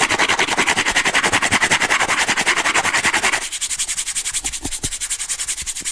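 Fingernails rub and scratch along the exposed ribbed edge of a brown corrugated cardboard disc held edge-on. The result is a rapid, steady rasping with bright, high texture and a faint tone near 2 kHz. After about 3.4 seconds the scratching turns lighter and quieter, with a few soft low thumps.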